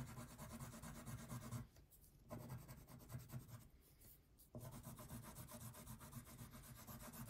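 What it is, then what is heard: Wax crayon shading on a paper sheet. A blue wax crayon is rubbed in wide shading strokes across a thin paper coloring page lying flat on a table. A steady, low, scratchy rasp repeats stroke after stroke, easing into two brief quieter stretches before the rubbing resumes at full strength.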